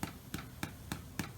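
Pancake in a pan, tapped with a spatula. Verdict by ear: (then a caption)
Hollow. A spatula taps the biggest choc-chip pancake in the pan five times, each tap a short, dull, hollow knock over a faint low hum. The hollow sound shows the pancake is cooked through, and its underside is golden brown, so it is ready.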